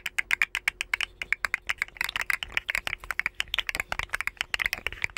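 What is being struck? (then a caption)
Segmented hollow plastic slug toy. A rainbow, segmented, hollow plastic articulated slug fidget toy is held near the microphones and flexed by the fingers, its segment joints clicking. About three dozen quick, dry, bright clicks come in an uneven, rapid run, each centred near 2.4 kHz and dying away almost instantly.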